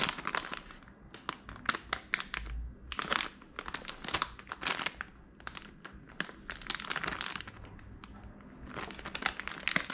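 A small, full, sealed Pillsbury mini chocolate chip cookie bag of crinkly plastic film is held in both hands, squeezed and turned over with the fingers. It gives dense, bright crinkling and crackling in quick irregular bursts, with short quieter stretches between them.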